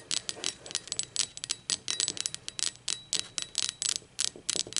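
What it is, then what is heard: Ceramic mug. Long acrylic nails tap and scratch the printed base and body of a blue speckled ceramic mug lying on its side. About two dozen quick, bright, clicky taps with faint high ringing come in an uneven rhythm, with almost no low end.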